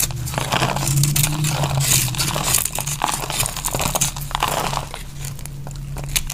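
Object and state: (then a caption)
Dry bar soap being cut into flakes. A utility knife blade cuts crunchy flakes off a solid, dry pink bar of soap with a white dried crust, held in the hand. Irregular, rapid crisp crunches and crackles repeat throughout, with bright, short scraping snaps. A steady low hum sits underneath.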